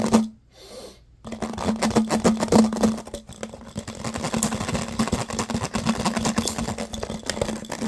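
An empty, hollow, clear, thin plastic water bottle with ridged sides is held in both hands and scratched and squeezed with fingertips and short nails. After a short burst and a near-silent pause, fast, dense crinkling and scratching fills the rest of the clip, with bright clicks over a steady low hum.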